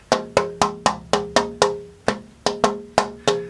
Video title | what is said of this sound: [EP18] Scalloping the Top Braces 1 | Sounds musical, rings nicely